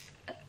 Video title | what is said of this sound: FULL FACE USING MAKEUP INDONESIA - First Impression, Haul, Review, Chitchat | if you shake it, you can hear like there's, what do you call it, marbles? Whatever, there's something inside.